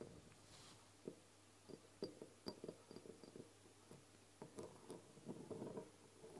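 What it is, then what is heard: Glass dropper bottle tapped and scratched with fingernails. Long blue nails tap and scratch the glass sides and partly paper-labelled side of a medium brown glass castor oil dropper bottle, which holds liquid and sits on a table. Soft, short clicky taps mix with quiet scratching and low rustle, each tap dying away almost at once.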